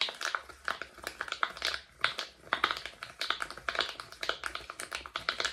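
Fingertips rapidly press and pop the hollow bubbles of a flat, palm-sized rainbow silicone pop-it fidget toy held in both hands close to the microphone. The result is a quick, uneven run of short, dry, bright clicks and soft pops with a steady midrange tone and almost no ring.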